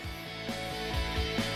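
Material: Nothing is struck.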